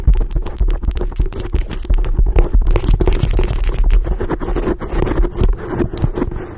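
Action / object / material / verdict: scrape / foam microphone windscreen / foam / none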